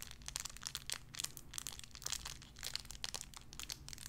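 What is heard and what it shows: A small clear plastic bag wrapped around a tiny white figurine is crinkled and squeezed between fingertips with long red nails. It gives a dense run of quick, bright, crackling crinkles that stop almost instantly, over a faint low hum.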